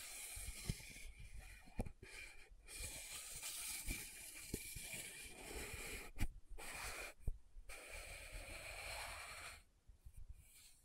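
A small round plastic loose powder jar with a dark glossy lid and pink base is held in one hand while long nails scratch and tap across the lid and rim. Continuous bright, hissy scratching is broken by several sharp, dry taps, and the sound drops to quieter, sparse scratches near the end.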